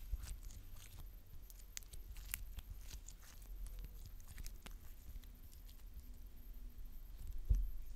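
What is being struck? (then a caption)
Glitter slime. A palm-sized lump of soft, stretchy purple glitter slime is held in both hands with long dark-painted nails, squeezed, stretched into a wide sheet and folded back. It makes quiet, sticky crackling and popping over a low rumble, with sharp bright clicks scattered throughout and a louder pop near the end.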